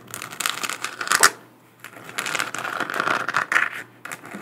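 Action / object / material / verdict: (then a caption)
tap / hollow 3D-printed plastic moon lamp tapped and scratched with long nails / plastic / none. A hollow, spherical 3D-printed plastic moon lamp about 15 cm across is held in both hands and tapped and scratched with long acrylic nails. Quick, dry clicks and rasping scratches come in dense, bright bursts with almost no low end, peaking sharply just past one second. After a brief near-silent pause, a second longer stretch of tapping and scratching follows.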